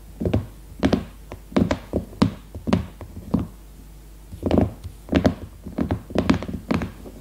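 Long red nails tap and knock on the plastic-sealed, leopard-print hardcover notebook lying flat, giving dull, thunky hits with a low body and short ring. The taps come in quick irregular clusters across the clip, some louder knocks among softer ones, with brief quiet gaps between bursts.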